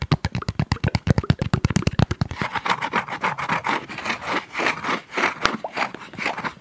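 Fingertips and short nails work across a thin, palm-sized sheet of flat brown corrugated cardboard held in both hands. For the first two seconds, quick, dry strokes land in a fast, low, papery patter. Then the sound turns into brighter, rasping scratches that come in uneven strokes.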